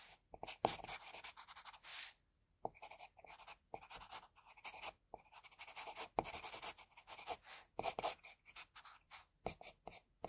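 A graphite pencil held in the fingers sketches a face outline on a flat white sheet of drawing paper with repeated strokes. The result is a quiet, bright, scratchy rasp made of many short bursts, with almost no low end and a brief pause just before the middle.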